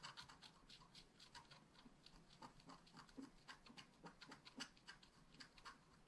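A wooden stylus rubs and scratches across the flower area of a flat black scratch art card made of wax-coated paper. Quiet, bright, dry scratching strokes come in a quick, irregular stream with soft rustling underneath.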